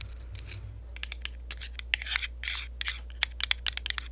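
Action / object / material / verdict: scrape / ceramic mug / ceramic / none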